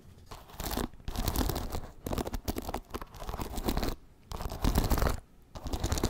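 Fingertips and nails scratch and flick the wooden pins of a wooden paddle hairbrush held bristles up. Dense, dry bursts of scratchy crackling and rapid ticking come in uneven runs, broken by brief pauses, with no ring after each stroke.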